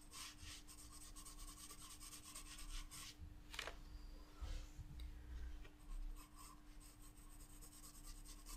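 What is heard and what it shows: A wooden graphite pencil held in the fingertips scratches and shades across a spiral-bound paper sketchbook page lying flat on a table, making quick, bright, rasping strokes. The drawing pauses briefly midway, with a sharp scrape and a few soft low bumps, before the steady scratchy shading resumes over a faint constant hum.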